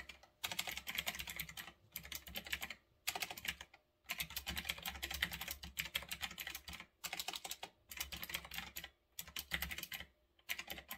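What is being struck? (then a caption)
Mechanical keyboard with round plastic keycaps. A retro typewriter-style mechanical keyboard with round backlit plastic keycaps sits on a desk while fingertips type fast on the keys. Dense, bright clicky keystrokes come in bursts separated by short pauses.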